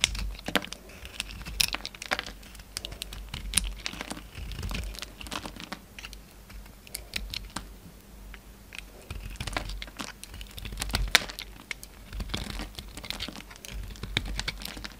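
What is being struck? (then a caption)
Soap bar. A utility knife shaves and chips curls off a solid orange soap bar held in the hand, making a dense run of short, crisp scraping clicks and crackles. The bright, dry bursts come in quick, uneven clusters with almost no ring, over a faint low steady hum.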